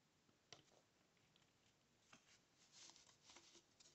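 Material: Paperboard.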